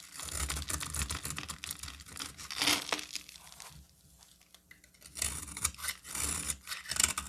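A solid cream bar soap held in the hand is carved into thin shavings with a utility knife. Bright, dry scraping and crisp peeling strokes come in bursts, with a quieter pause in the middle before the shaving resumes.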